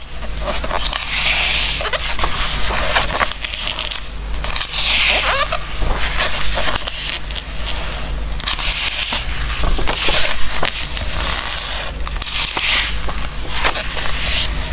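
Fingertips rub and slide across the glossy coated paper pages of a large open hardcover Christmas craft and recipe book lying on a wooden table, turning the pages now and then. The glossy paper squeaks and rustles in bright, airy swishes with crackly scrapes between them, over a steady low hum.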